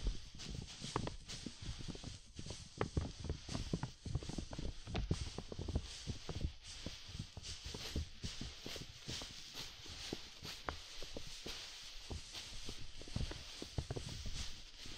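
Several soft makeup brushes rub and tap across a large clear plastic dome umbrella, its thin hollow canopy held over the mic. The result is a steady stream of soft, dull low thumps with short decay, layered over a continuous brushy rustle and a faint bright hiss.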